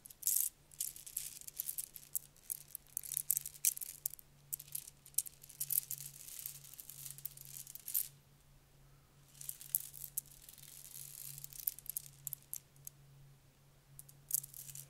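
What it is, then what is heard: Plastic bead necklace. A long strand of red plastic beads on a necklace is run through the fingers and then stretched out between the hands, so the beads clack together. Dense, bright, dry rattling clicks come in bursts, with a short pause near the middle, over a steady low hum.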